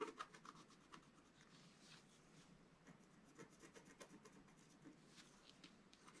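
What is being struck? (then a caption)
Scratch-art paper sheet scratched with a wooden stylus. A wooden stylus scratches and hatches lines into the black coating of a flat scratch-art sheet, about A4 in size, resting on a table. A quiet, continuous dry scratching runs throughout, broken by short, brighter rasping strokes.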